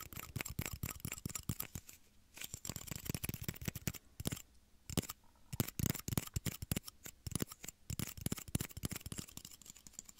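Small, empty, clear hollow plastic shot glasses, one held in each hand, are tapped with fingertips and nails close to the microphone. Rapid, dry, clicky taps come in quick bursts with brief pauses. Each tap has a low hollow thump and a bright, short tick that dies away almost instantly.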